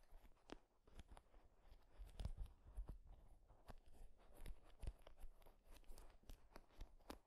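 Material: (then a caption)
Wood. Fingertips strum and scratch across the wooden pins of a wooden paddle hairbrush. The result is a quiet, irregular series of short, dry clicks and crackles with brief scratchy rasps and a soft low rumble beneath.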